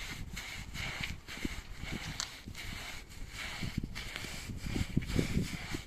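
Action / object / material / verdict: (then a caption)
scrape / wet woven rug scrubbed with a stiff bristle brush / woven fabric / none. A long-handled stiff-bristle brush scrubs back and forth across a wet, soapy, medium flat-woven machine-made rug with a grey and white trellis pattern, lying on concrete. The result is a continuous wet, hissing rasp with a steady bright band and soft low thumps as each stroke drags across the surface.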